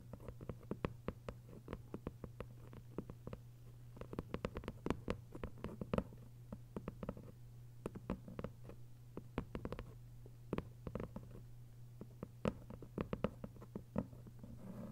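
Long acrylic nail tips tap rapidly on the textured paper dust jacket covering the front of a closed, thick hardcover book lying flat. The result is a quiet, steady stream of short, dry clicks in irregular bursts over a constant low hum.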